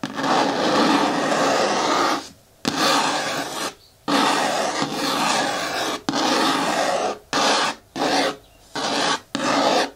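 Long nails scratch and rub the front wall of a hollow, medium-hard green plastic bin with a lid. The result is eight sustained raspy, brushy strokes of bright, dense friction noise, some long and some short, separated by brief silences.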